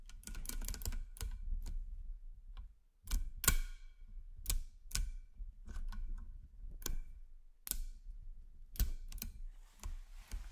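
A chain of solid 10mm nickel-plated magnet cubes and spheres is guided by fingers down a magnet ring, and the pieces snap together metal on metal. Irregular, sharp, bright clicks die away almost instantly, with some arriving in quick clusters and others spaced apart, over a steady low rumble.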